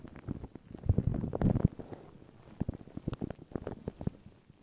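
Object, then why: Paper tissue over a microphone. Long pink nails and fingertips scratch and rub crinkled, thin white paper tissue stretched over a round microphone head. The result is a muffled, low-heavy crackling and rustling that thickens into a dense rub around the first second and a half, then breaks into quick, separate scratchy ticks.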